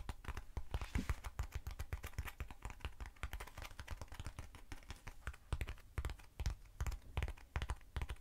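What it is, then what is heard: Foam cylinder. Long acrylic nails rapidly tap on a short black textured foam cylinder held in the hand. The result is a dense run of quick, dull clicks with low thuddy bodies that die away almost at once.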